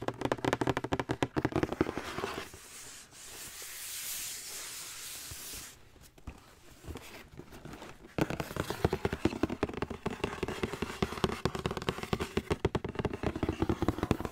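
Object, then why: Cardboard shoe box. Fingertips and nails tap and scratch a large, hollow, white printed cardboard Nike Air Max 270 shoe box held in the hands. Rapid, hollow tapping opens the clip, then gives way to a bright, hissing scratch across the surface. After a few scattered taps, dense tapping returns until the end.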